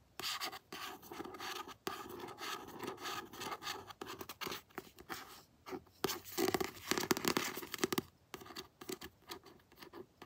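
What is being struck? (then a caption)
Paperback book with glossy card cover. Fingertips and long nails scratch the glossy card front cover of a paperback book held upright. The result is dry, papery scratching in short, irregular bursts with brief pauses, bright and hissy on top with almost no low end and no ring after each stroke.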